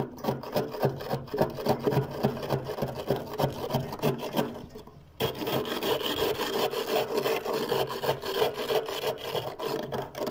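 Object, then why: Frost layer in a freezer scraped with a plastic scraper. A hand scrapes a thick layer of soft white frost and ice crystals off the inner wall of a freezer with a small white plastic scraper, carving lines and chunks away. Quick, rough, crunchy scraping strokes repeat about three times per second. There is a brief pause near the middle before the scraping resumes slightly louder.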